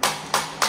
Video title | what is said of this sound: ЗАТОПЛЕННОЕ МЕТРО под КИЕВОМ ! ПОЧЕМУ ТОНЕТ МЕТРО ? | слышно даже, если тут звук глухой